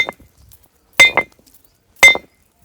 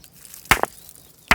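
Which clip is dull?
The second.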